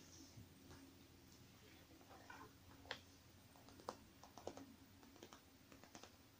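Long dark-painted nails tap and scratch the crinkly surface of a small, soft, zipped silver metallic faux-leather cosmetic pouch with items inside, lying on a wooden table while the other hand holds it. Quiet, irregular clicks and sharp taps stand out over a soft rustling scratch, each tap dying away almost at once.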